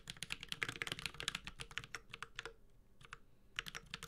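A Space65 Cybervoyager 65% mechanical keyboard with a metal case, Holy Panda switches and ABS plastic keycaps is typed on continuously with the fingertips of both hands. Bright, sharp clacks come in a quick, uneven run, with a brief pause near the middle before the typing resumes.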